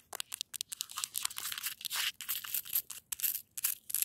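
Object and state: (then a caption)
Frozen snow crust. Long acrylic nails scratch and tap the hard, icy surface of a frozen snow crust outdoors. The sound is a quick run of bright, crunchy scrapes and sharp clicks, almost all high-pitched with no low end. Each scrape stops dead with no ring.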